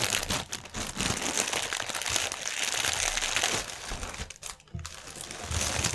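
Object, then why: Plastic air-cushion packaging film. A strip of clear plastic air-cushion packaging film is twisted in one hand while the other hand's fingertips scrunch it. The result is dense, continuous, bright crinkling and crackling, concentrated around 2.9 kHz, with a brief quieter lull near the end before the crinkling picks up again.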